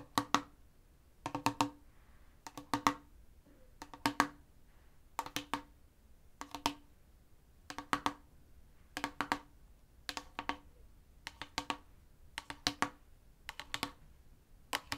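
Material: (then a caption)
Plastic. A tall, clear plastic spray bottle with a silver collar and pump nozzle, partly filled with clear liquid, is held upright while fingertips and nails tap along its side. Quick bursts of short, dry, bright clicks come in irregular clusters with almost no ring, over a quiet background.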